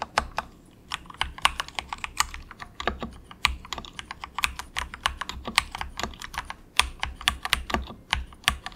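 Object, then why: Plastic mechanical keyboard. Fingertips of both hands type softly on a very cheap, compact mechanical keyboard with grey plastic keycaps. Dozens of sharp, bright plastic clacks come in a steady, uneven rhythm, each dying away almost at once. A faint low hum sits underneath.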